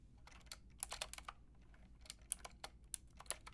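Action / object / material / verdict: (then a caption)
tap / plastic mechanical keyboard with round keycaps / plastic / none. Long painted nails and fingertips type on a white and pink Lofree mechanical keyboard with round, plastic typewriter-style keycaps and a hollow body. About fifteen sharp, bright plastic clicks and taps come in an uneven rhythm, each dying away almost instantly, over a faint low hum.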